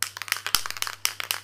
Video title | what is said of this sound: Recette en Vidéo : Mini-cœurs Praliné/Gianduja de la Saint Valentin ❣️ | vous entendez la petite bille qui claque à l'intérieur il faut le secouer assez longuement pour bien mélanger la préparation qui est dedans